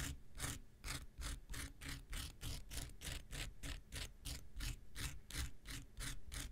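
An X-Acto knife blade is scraped quickly back and forth across the surface and end of a small, solid, rectangular pink foam nail buffer block. Each stroke makes a bright, dry, raspy scrape, and the strokes come in a steady rapid rhythm over a low, constant rumble.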